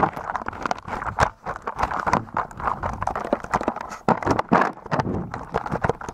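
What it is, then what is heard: Slime-covered plastic keyboard being typed on. Fingertips type on a full-size white and grey mechanical keyboard with plastic keycaps that is blanketed in a thick layer of translucent blue slime, pressing through the slime onto the keys. A steady run of rapid, wet squelching presses mixed with soft key clicks fills the clip, mostly in the midrange with little low end.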